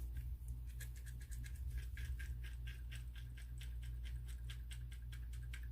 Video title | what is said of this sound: PICK A CARD 🌞 SUMMER PREDICTION 🌻 HOW YOUR SUMMER WILL BE!!🔥 | They wanted me to shake it and listen to it, and it just reminded me of the rain falling down.